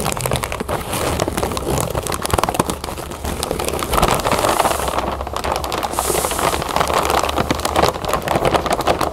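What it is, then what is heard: Plastic bag of cereal puffs. A full clear plastic bag of cereal puffs is held and lifted while long nails scratch and press its surface. The result is a steady, dense crinkling and crackling of plastic, with many quick scratching taps and brief brighter swells of rustle.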